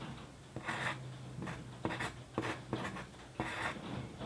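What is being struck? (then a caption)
Paper sheet and graphite pencil. The graphite tip of a wooden pencil writes on a flat sheet of white paper lying on a desk. Six short, dry scratching strokes are heard, each a bright rasp with a soft low thump as the pencil meets the page, separated by quiet pauses.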